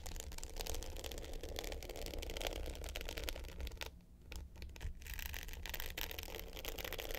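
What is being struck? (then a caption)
Glitter-coated hard-case clutch with metal frame. Long pointed nails scratch the dark blue glitter top of a small rectangular hollow hard-case clutch with a gold metal frame, lying flat. A steady, gritty scratching with a heavy low rumble and bright, crackly highs runs throughout, dipping quieter for about a second near the four-second mark before resuming.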